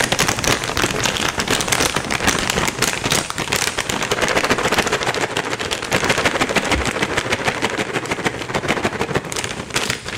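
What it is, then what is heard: Plastic cat treat pouch. A medium, flexible plastic Temptations cat treat bag, likely filled with dry treats, is held in both hands, shaken and crinkled with the fingers. It makes a dense, continuous crackle of plastic crinkling and rattling that stays bright and steady for the whole ten seconds, with little low end.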